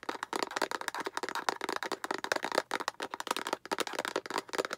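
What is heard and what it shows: Long acrylic nails tap and scratch rapidly on both sides of a hollow, translucent yellow-green plastic egg capsule held upright. The result is a dense, fast stream of sharp, dry plastic clicks and scratchy rasps, centered in the mids with bright edges. There is no low end, and each hit dies out almost instantly.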